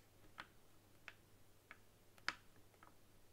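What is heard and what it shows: A long nail taps on the touchpad of a white, hollow plastic game controller standing upright on a table. Four short, dry, bright clicks ring very briefly, with the fourth the loudest and a faint extra tick after it. A steady low hum sits underneath.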